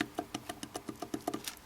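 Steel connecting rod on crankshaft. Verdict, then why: Loose. A loose steel connecting rod on the crankshaft of a knocking LS1 engine is wiggled by hand. It gives a quick run of nine sharp, dry metallic clicks with almost no ring. The play comes from worn, spun rod bearings.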